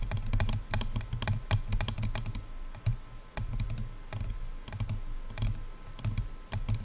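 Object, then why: Plastic over-ear headphone earcups. Long nails tap rapidly on the silver and black hollow plastic earcups of over-ear headphones. The result is a quick, irregular run of sharp, bright clicks over a hollow low thump near 100 Hz, each tap dying away almost at once.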